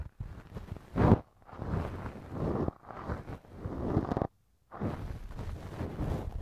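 A thin wooden earpick held in the fingers scrapes and scratches inside the soft, flexible, hollow ear canal of a left silicone ear model mounted on a binaural microphone stand. Close, muffled, low-heavy rustling and scratching comes in bursts, separated by brief silent gaps.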